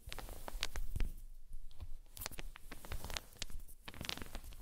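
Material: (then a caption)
Wood. Small solid wooden balls roll across a fluffy blanket, pushed along by long-nailed fingers and knocking into each other. A soft, muffled low rumbling runs throughout, broken by scattered short, bright clicks where the balls collide.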